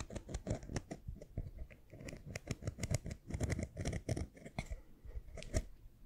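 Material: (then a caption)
Plastic. A small, round, light-blue plastic screw lid with a ridged rim and hollow body is scratched along its ridges and tapped with fingernails close to the microphone. The result is a quick, uneven run of dry clicks and scratchy rasps with a soft, low hollow thump beneath them. Each click dies away almost at once, with a few sharper, brighter taps standing out.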